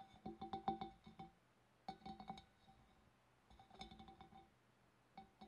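Long black nails tap quickly on the rim of a large, hollow, empty, clear glass fish bowl from above. The taps come in four separate bursts, each giving a bright, glassy clink with a clear ringing tone near 780 Hz that fades quickly between taps.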